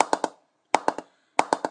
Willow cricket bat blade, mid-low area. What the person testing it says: Continuing into mid low. Good ping there.